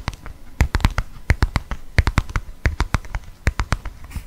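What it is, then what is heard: Leather wallet. Fingertips and nails tap on a closed black leather wallet with a snap tab. It makes a quick, irregular series of short, dull taps, each a soft low thump with a faint dry click. The taps die away at once, without ringing.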